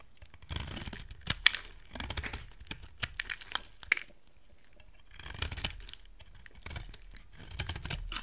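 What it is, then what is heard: Dry soap bar, cut and scraped. A solid, hand-sized rectangular white soap bar, dry, is carved and scraped with a utility knife blade, and dry chunks break off. Bursts of bright, crisp scraping and crumbly crackling come with sharp snapping clicks, separated by brief quiet pauses.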